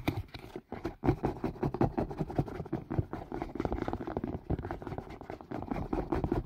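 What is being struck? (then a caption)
Plastic and silicone collapsible strainer. A collapsible green silicone and white plastic strainer, hollow and empty, is held over the mic and tapped with fingertips and nails. A fast, continuous run of dull, short taps with a low hollow body and little brightness fills the clip.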